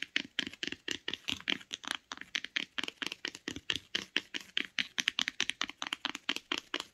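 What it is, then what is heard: Hardcover book. Long acrylic nails tap the spine and top edge of a closed hardcover book with a grey board cover and printed spine, resting on a blanket. About 38 quick, dry, bright clicks arrive in a steady, slightly uneven rhythm, centred near 3 kHz with almost no low end. Each tap dies away instantly.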